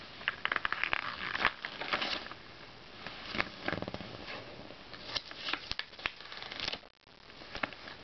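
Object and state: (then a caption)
Glossy paper magazine pages. Fingers quickly flip and riffle the thin pages of an open glossy paper Self magazine, producing rapid bright crackling rustles and papery snaps. The fingertips then smooth the pages flat with a softer sliding hiss, after a brief near-silent gap.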